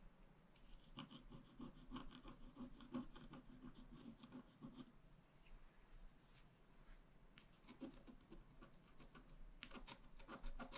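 A wooden stylus tip scratches a flat, black wax-coated scratch-art card, a solid thin page about A5 size lying on a table. Quick dry scratching and rubbing strokes come in dense bursts, ease off in the middle, then pick up again toward the end. A faint steady low hum sits underneath throughout.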